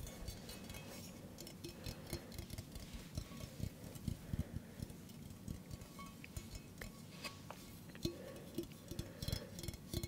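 A hollow stainless steel mug with a handle, held up near the microphone, is tapped with fingertips and nails. The result is a quiet, irregular stream of soft, dull taps with a low body and a faint metallic tone around 340 Hz, with occasional brighter nail clicks. Each tap dies away almost at once.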